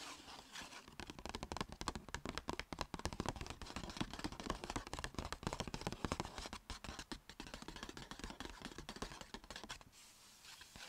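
Long red nails and fingertips rapidly tap and scratch a small, hollow, striped Sephora paper gift bag lying on a blanket. The result is a dense run of quick, dry papery taps and scrapes with a soft hollow low thump under them. The activity eases off into a quieter scratchy hush near the end.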